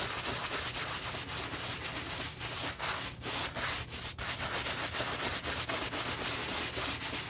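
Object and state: Leather boot being brushed.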